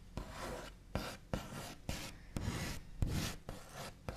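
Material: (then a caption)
Wood. The backs of the fingernails of both hands flick and tap on a large, solid wooden table top painted white with a smooth finish. Eight sharp, scratchy taps stand out, each with a soft low thump and almost no ring. Between them come rasping, brushy scratching strokes across the surface.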